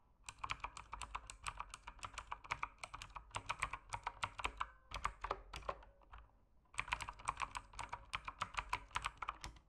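Fingertips type continuously on a backlit mechanical keyboard with plastic keycaps, producing a rapid stream of sharp, bright clacks that die away almost instantly. The typing slows and briefly pauses just past the six-second mark, then resumes at a steady pace.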